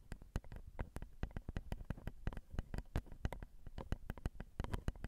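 Long acrylic nails tap rapidly on the metal X/Y microphone capsules of a Zoom recorder, right where the capsules cross. The result is a quick, uneven stream of short, dry clicks with a heavy low thump and almost no ring after each tap.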